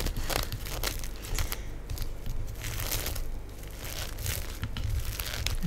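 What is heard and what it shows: Long nails tap on the plastic film tightly wrapped over a black styrofoam tray of cheese slices lying on a table. The result is a steady run of soft, crinkly taps with a low thud beneath and bright crackles above.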